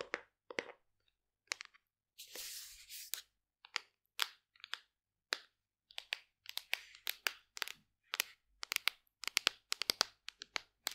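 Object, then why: Plastic supplement tub. A large hollow black plastic supplement tub with a printed label is held in hand and tapped and scratched with long nails. Sharp, bright clicks and taps come in irregular bursts, broken around the two-second mark by a longer, hissing scratch across the surface.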